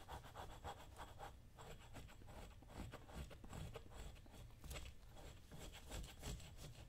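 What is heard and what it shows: A dull metal chisel held in the hand is scraped and rubbed over the toe and vamp leather of a worn brown leather lace-up work boot with a green welt, worn on a foot. The result is a steady series of soft, rasping scrapes with a low, muffled body and faint bright grit on each stroke.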